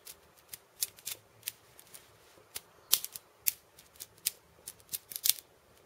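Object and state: Cabasa with steel bead chains.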